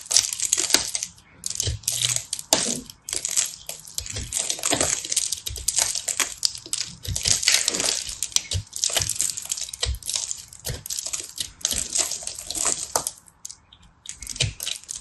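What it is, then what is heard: Pressed soap ball being shaved. A fist-sized solid ball of pressed multicolor soap flakes is held in one hand while the other hand, with long red-painted nails, shaves and scratches it with a small black-handled knife blade. The result is a dense stream of bright, crisp scraping and crackling with sharp, quickly fading ticks, as crumbs fall away. The sound dips briefly near the end before resuming.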